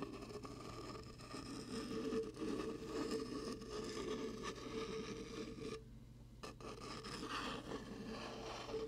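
Fingertips scratch and rub the ridged side of a hollow, translucent ribbed plastic shaker cup with a blue lid, producing a steady, papery rasping with a faint low hum beneath it. The scraping briefly drops away around the six-second mark, then resumes at the same even level to the end.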